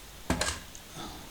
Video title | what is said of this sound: ATARI 800XL - 1983 - Restoration Weekend part 1. | if you can hear the clicking sound something is terribly loose